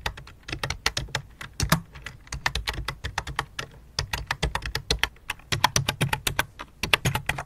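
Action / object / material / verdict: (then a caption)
tap / plastic computer keyboard / plastic / none. Fingertips with long dark nails type on the letter keys of a full-size white and light-blue plastic computer keyboard resting on black cloth, then one hand moves over to the numeric keypad. About 44 quick, short, bright plastic clicks, each with a soft low thump underneath, come in an uneven, steady stream. Each tap dies away almost instantly.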